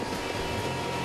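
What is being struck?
Nothing is struck.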